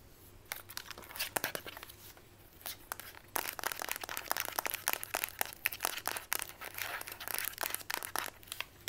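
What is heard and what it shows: A mint-green Instax Mini plastic instant camera with a hollow body is tapped and scratched with long white almond nails. Quick, sharp clicks and scratchy bursts come in a rapid, uneven stream, bright and crisp with almost no low end. The taps grow denser and louder after the first few seconds.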